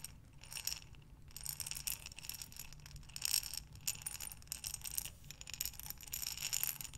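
A glass mason jar with a metal lid, filled with buttons, is rotated sideways in both hands so the buttons tumble against the glass. The result is a quiet, continuous rattle of dense, bright, glassy clicks that swell and fade in waves as the jar turns.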